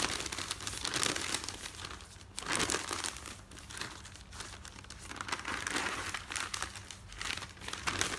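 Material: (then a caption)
Paper. Fingertips and nails crumple and smooth the top sheet of a folded newspaper stack. A steady, bright crinkling and rustling rises and falls in waves, with sharper crackling bursts at each surge and only a faint low rumble underneath.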